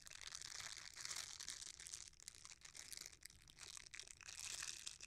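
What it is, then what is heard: Silicone scrubber being squeezed and rubbed. A red silicone bristle scrubber, folded in half, is squeezed by fingers while its bristles are rubbed together. This makes a soft, dense, bright crackling and crinkling rustle with almost no low end. It swells louder near the start and end, with a brief quieter dip in between.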